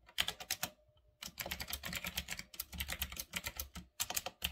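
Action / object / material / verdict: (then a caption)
tap / mechanical keyboard with round plastic keycaps / plastic / none. Fingertips type fast on a full-size retro typewriter-style mechanical keyboard with round black plastic keycaps on a metal-look frame. Rapid, bright clicky keystrokes come in dense bursts, with a short pause near the start and brief gaps between runs.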